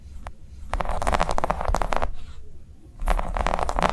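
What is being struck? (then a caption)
Silicone coaster. Long nails tap and scratch quickly over a round, flat, green ribbed silicone coaster lying on a table. The soft, dull clicks and rubbery scrapes come in dense clusters, with a short quiet pause in the middle before the tapping starts again.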